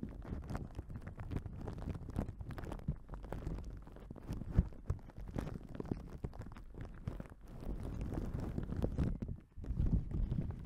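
A thin, soft yellow paper napkin is held open near the microphone and rubbed and crinkled with fingertips and long nails. The result is a dense, continuous crackling rustle, heavy in the low end, with many small crisp snaps throughout. It briefly drops out near the end before swelling louder again.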